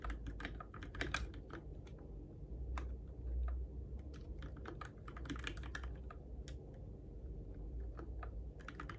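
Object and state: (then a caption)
Plastic mechanical keyboard. Fingertips type steadily on a Keychron K6 compact RGB-backlit mechanical keyboard with plastic keycaps on switches, in the dark. Quick, dry clicks and clacks run continuously over a low, steady rumble, with short bright key transients that die away almost instantly.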